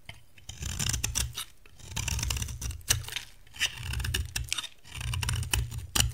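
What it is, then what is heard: Dry bar soap being scraped. A dry brown bar of soap with a green shell, held in the hand, is scraped across its face by a metal cutter blade that removes shavings. Repeated dry, crisp scraping strokes carry bright, gritty detail over a low, rough rumble, swelling and fading in waves with short pauses between passes.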